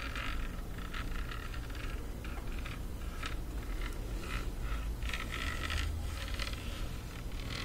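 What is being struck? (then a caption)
Rubberized plastic bluetooth speaker. Long nails scratch and scrape across a black rubberized plastic bluetooth speaker, producing repeated dry, gritty scratching bursts over a steady low rumble. The scrapes come in uneven strokes throughout, with no clear pauses between them.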